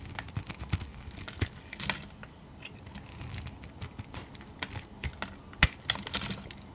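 A utility knife blade shaves thick curls off the surface of a solid, translucent dark purple-red rectangular glycerin soap bar held in hand. The result is a quick series of short, crisp, bright scraping clicks over a quiet background, with a few sharper snaps standing out.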